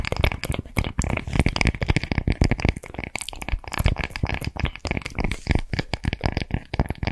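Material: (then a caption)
Straw. Long nails scratch and tap along the woven fibers of a round, palm-sized, flat and thin straw or rattan coaster. The result is a dense run of dry, crackling scratches and quick taps with soft low thumps and a papery texture. Each sound dies away almost instantly, with no ring.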